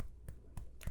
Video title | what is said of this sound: ASMR Teacher 👩🏻‍🏫 Teaching You About Your Five Senses | if you knock on it it doesn't sound the same that doesn't sound like the front door at all